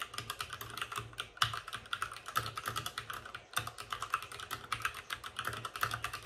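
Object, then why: Mechanical keyboard with plastic keycaps and case. Fingertips of both hands type fast on a white RGB-backlit mechanical keyboard with plastic keycaps and a hollow plastic case. A rapid, steady stream of short, dry clacks with a bright plastic tone around 1.3 kHz, each cut off almost instantly, with a few harder strikes standing out.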